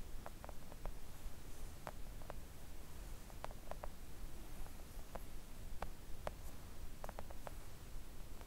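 Long acrylic nails gently tap a flat, thin, solid pink silicone nail art mat. Soft, short, muted taps come in irregular clusters over a steady low rumble. Each tap dies away almost instantly.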